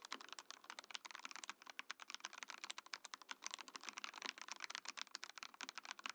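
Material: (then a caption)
Plastic. A compact Mojo68 mechanical keyboard with a translucent clear plastic case and plastic keycaps is typed on with fingertips. It produces a steady run of fast, bright, clacky keystrokes with almost no low end and very short decay.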